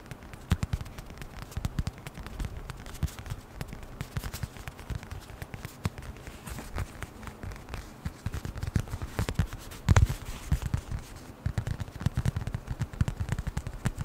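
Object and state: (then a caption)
Leather wallet. A small flat brown leather wallet is tapped quickly with the fingertips in front of the microphone. The result is a dense, irregular run of short, dull, low-pitched taps with almost no ring, including a louder tap around the ten-second mark.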